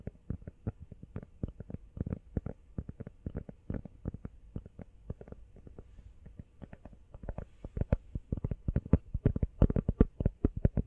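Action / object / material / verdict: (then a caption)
tap / rubber phone case / rubber / none. A small, hollow, empty teal rubber phone case is held sideways and tapped rapidly with long fingernails. It gives a fast stream of short, dull, low-pitched thuds with almost no ring. The taps grow louder and a little brighter toward the end.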